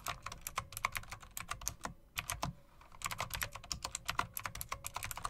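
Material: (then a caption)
Plastic. Long dark press-on nails and fingertips tap rapidly on a full-size backlit typewriter-style mechanical keyboard with a solid body and round plastic keycaps with chrome metal rims. A fast run of sharp, bright clicks, about thirty in all, pauses briefly near the two-second mark and then resumes. Each tap is short and dry with little ring.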